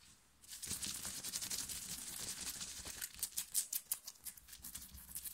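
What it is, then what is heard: Cotton t-shirt scratched with nails. Long nails of both hands scratch fast across a soft, cotton-like black t-shirt printed with "STAY TRUE," worn on the chest. After a brief quiet start, a dense, bright, hissy scratching builds with rapid irregular strokes, growing sharper and louder around the middle before continuing steadily to the end.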